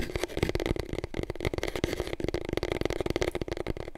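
Long nails rapidly tap and scratch the spiral-wound surface of a long, hollow, empty cardboard paper roll tube, held diagonally and then upright. The result is a dense run of short, dry, hollow clicks with a low resonant thump and a mid-range ring, with soft scratchy texture between the taps.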